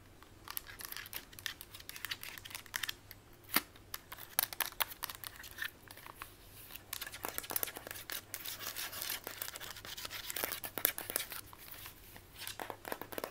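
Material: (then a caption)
Plastic. A small, hollow, mint-green plastic instant camera is turned in the hands while long white acrylic nails tap and scratch fast across its front, lens ring and sides. Dense, bright clicking and scratchy rustling run continuously, with sharp short taps and no ringing.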